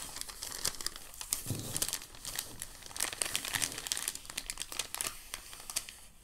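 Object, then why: White packing paper sheet. A hand crumples the edge of a crinkled white packing paper sheet, then both hands lift the sheet, making a continuous stream of dry crinkling. The sound is dense, bright crackles with short bursts of louder rustling and very little low end. Each crackle is crisp and cuts off instantly.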